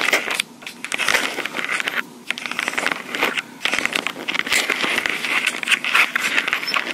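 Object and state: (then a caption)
Plastic portable recorder scratched and tapped with nails. Long pink acrylic nails scratch and tap near the metal mic grilles of a small black plastic Tascam portable recorder. The result is a dense, bright stream of crackly scratching and quick clicky taps, broken by a few short pauses, with almost no low end.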